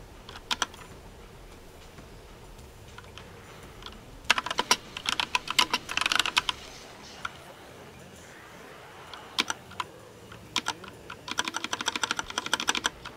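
Fingertips type on a compact plastic mechanical keyboard with teal and pink keycaps, pressing keys at a moderate rate. Bright, sharp clicky taps come in short bursts separated by quiet pauses, each tap dying away almost instantly.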